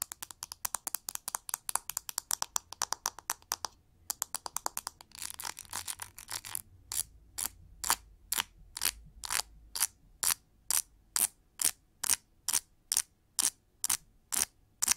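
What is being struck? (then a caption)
Plastic cushion hair brush with pin bristles. Fingernails flick and scratch the pin bristles of a pink plastic cushion paddle hair brush. A fast run of crisp, bright ticking flicks gives way to a short pause, then a dense burst of scratchy rasping. The clip ends with a steady series of evenly spaced, sharp bristle flicks.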